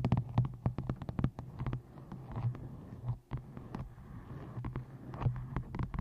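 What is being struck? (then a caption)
Paperback book. Fingertips and long nails tap the top edge and cover of a closed, solid white-covered paperback book, "I Hate Dolphins," resting on a microphone. The result is a quick series of short, dull, deep thuds with sharp clicks, over a steady low hum.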